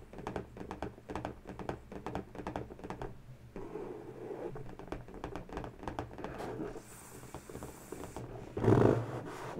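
Long bare natural fingernails tap and scratch an inflated, hollow, air-filled pink latex balloon, while a second small uninflated balloon is held at the knot. Quick, hollow taps with a low, dull body give way to softer, continuous scratching and a faint bright hiss. The clip ends with a louder, fuller burst of rubbing noise.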